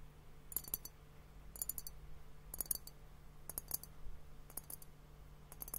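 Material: Glass.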